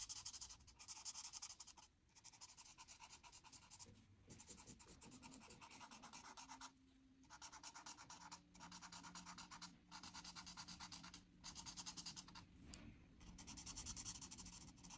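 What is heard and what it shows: A marker nib is rubbed in short, dense strokes across a flat white paper coloring sheet, filling in the blue border around an oval. It makes a quiet, bright, crunchy scratching in steady runs, broken by several brief pauses between bursts of strokes.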